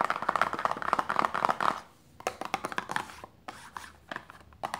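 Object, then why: Small paperboard box. Long nails and fingertips tap quickly on a small, closed, hollow printed paperboard lotion box resting on fabric. The first two seconds are a dense flurry of crisp, hollow clicks with a papery ring near 1.2 kHz. After a brief pause, sparser, lighter taps follow with short quiet gaps between them.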